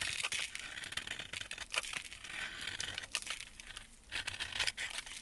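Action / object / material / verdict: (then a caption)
scrape / bar of soap scraped with a metal blade / soap / none. A metal blade scrapes flakes off the edge of a solid white embossed soap bar held in a gloved hand. The sound is a dry, bright, crinkly scraping made of rapid crackling strokes that swell and fade, with almost no low end.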